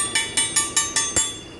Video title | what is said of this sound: Transmission grinding sound/ Teardown and trouble shooting Hyundai Sonata DN8..#vlog49 | Solid ang tunog niya. Pagkabasag yan, iba ang tunog.